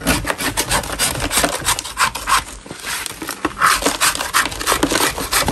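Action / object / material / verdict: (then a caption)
scrape / natural chalk block scraped with a metal putty knife / chalk / none. A metal putty knife in a gloved hand scrapes a large, solid lump of natural chalk, shaving powder off its surface. Quick, irregular rasping strokes overlap into a dry, gritty scratch, bright and hissy with a rough mid-range edge and almost no low end.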